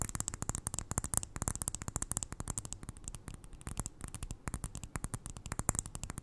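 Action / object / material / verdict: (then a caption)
tap / glass jar filled with granules / glass / none. Long nails tap rapidly on the glass sides of a small, full glass jar filled with white granules, held near the ear. The result is a quick, uneven stream of short, dry clicks, each with a soft low thud and a bright, crisp top, dying away almost instantly with no ring.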